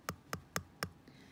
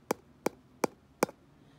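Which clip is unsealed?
The second.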